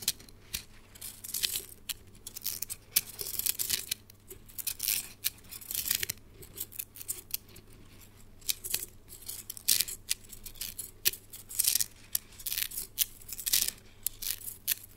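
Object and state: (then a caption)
Plastic slinky toy. A small, hollow, coiled red plastic slinky spring toy is held in both hands and stretched, flexed and shaken, so its coils click and rattle against each other. The result is irregular bursts of bright, crisp clicking and crinkly rattling that decay almost instantly, over a faint, steady low hum.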